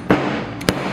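A hammer strikes a solid, dried, hardened block of homemade paper-pulp glue, giving sharp, dull, muffled knocks that die away almost instantly. The block stays intact with no cracks or broken edges, only a few light dents, proving harder than stone.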